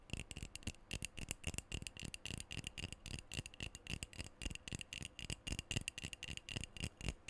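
A black metal aerosol deodorant can, about hand length, hollow and pressurized, is held close to the mic and tapped and scratched all over with fingernails. The result is a rapid, irregular stream of short, dry clicks and scratches with a bright metallic tinge near 2.7 kHz and soft low thumps from the hollow body.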